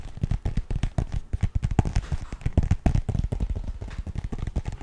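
Fingertips and nails rapidly tap and scratch the surface of a lightly filled, printed fabric pencil-case pouch with a zipper. The result is a dense stream of short, dull, low-pitched thuds that stop almost instantly, with scratchy rustling between them.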